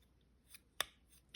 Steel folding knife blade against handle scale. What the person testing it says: it's kind of rubbing on the scale. So that's just indicative of you have such a small channel for this to be in